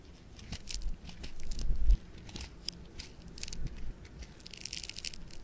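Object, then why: Foam bead clay (floam). A handful of yellow-orange multicolor speckled foam bead clay (floam) is twisted, stretched and squeezed into a rope by fingers. Dense bright crackles and crinkling pops from the beads run over a low, muffled squishing rumble that swells and fades as the clay is worked.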